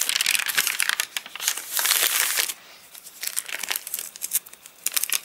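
Fingertips bend, flip and crinkle the stiff, wavy pages of an open, rain-dried paper catalogue. Dense, bright crackling comes in bursts, with a loud sustained crinkle around the middle and a quieter stretch before sharper crackles return. The sound is almost entirely high-pitched with no low end.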